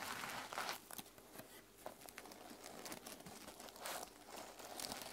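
Long nails scratch across the plastic sequin cover of a closed mermaid sequin journal resting on a table. The result is a dry, crinkly rustling with bright, hissy bursts that swell and fade in uneven waves, with almost no low end.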